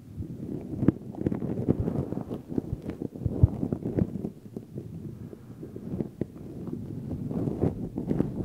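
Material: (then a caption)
Synthetic fur. Fingertips pinch, stroke and rub the synthetic fur of a black furry microphone windscreen. The result is a dense, muffled low rustling and scratching, broken by sharp little crackles and pops, with almost nothing in the bright range. It swells and dips in waves, quieter in the middle and building again toward the end.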